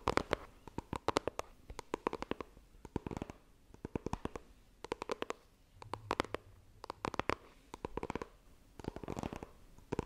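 Long dark nails tap and scratch the front face of a small, rigid white printed cardboard iPhone retail box held in both hands. Clusters of quick, dry, sharp taps repeat through the clip, separated by brief scratchy passages and short pauses. The result is a soft, close, crisp pattern of many clicks with no ring after each hit.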